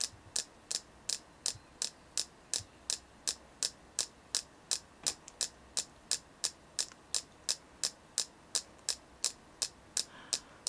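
A selenite crystal from a stone shop in Yahat, Oregon is tapped 32 times in a steady rhythm of about three taps per second. Each tap is a short, bright, high click that dies away almost instantly, with almost no low end, over a faint background hiss.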